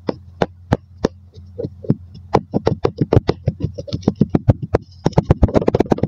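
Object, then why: Kinetic sand in a glass tumbler. A wooden dowel repeatedly presses and knocks down on layered purple and beige kinetic sand packed into a mostly full clear glass tumbler, compacting it. This produces short, dull, muffled thuds over a steady low hum; the thuds start sparse, then quicken into a dense, uneven patter toward the end.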